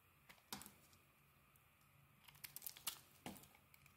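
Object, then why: Bar of soap scraped with a small metal blade. A small metal blade scrapes and carves curls off a hand-sized solid bar of pale soap with a thin green outer layer, held in one hand, as flakes crumble off. Soft, bright crinkling scrapes and crisp flicks come in irregular bursts over a quiet background hiss, with the sharpest cuts near the start and in a denser cluster toward the end.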